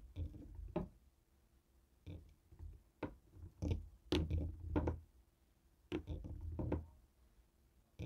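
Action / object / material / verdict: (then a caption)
tap / plastic TV remote tapped with a stone roller / plastic / none. A hand-held jade roller taps and knocks on the buttons of a black plastic Fire TV remote resting on a wooden table. The result is a series of dull, low, hollow plastic clicks and knocks in irregular clusters, each decaying quickly, with quiet gaps between them.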